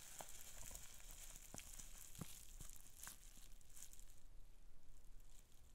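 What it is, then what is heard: Plastic bubble wrap being popped. Fingertips squeeze and pinch the small air bubbles in a sheet of green plastic bubble wrap, popping them. Sharp, scattered snaps ring out over a steady bright crinkle and hiss of the plastic, and the sheet quiets near the end.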